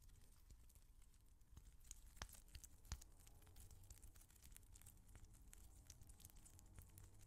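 A small translucent rubber squishy ball filled with colored water beads is held in the fingers close to a microphone and repeatedly slapped and patted with an open palm. The result is a quiet, steady run of soft, dull, low-heavy pats with short, crisp, bright clicky edges, with two sharper, louder slaps standing out near the middle.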